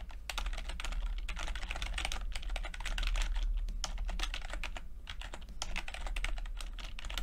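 A low-profile plastic computer keyboard with red and purple backlit chiclet keys, its flat, mostly hollow keycaps sitting over switches, is typed on rapidly with the fingertips of both hands. Quick, light clicks and taps tumble over one another steadily throughout, bright in tone over a constant low hum.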